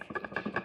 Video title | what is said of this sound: Week 3 GLP-1 Journey 2.5mg my 1st refill experience | when you shake it, it's metal up in this bad boy